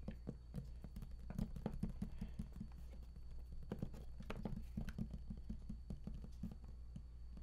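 Fingertips of both hands tap rapidly on the edges of an embossed raised panel on a large, hollow, printed cardboard collector's edition game box. The taps are quick, dull and hollow, with short bursts that die away almost at once. The sound sits mostly in a soft low thump with a faint steady hum beneath.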